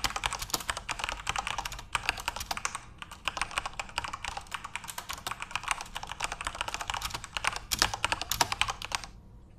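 Both hands type rapidly with their fingertips on a full-size Corsair RGB-backlit mechanical keyboard with plastic keycaps. The result is a dense stream of short, bright plastic clacks with very little low-end thump. The typing pauses briefly near the two- and three-second marks, and a few louder key strikes stand out near the end.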